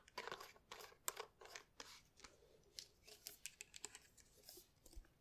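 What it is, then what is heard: Plastic bottle with liquid. Long red nails tap and scratch a tall clear plastic bottle with a white cap, partly filled with pink liquid, as it is held up. A quiet, rapid series of crisp, bright ticks and scratchy rasps follows, each dying away almost at once with little low end.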